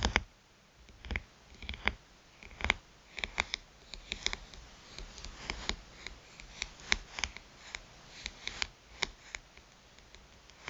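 Long pointed nails tap the glass touchscreen of a smartphone with a metal rim lying flat on a mat. Dozens of sharp, bright clicks come at an irregular pace, each dying away almost instantly, with soft rubbing and scratching between them.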